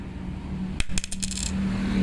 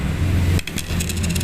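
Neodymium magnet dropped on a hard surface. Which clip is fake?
The second.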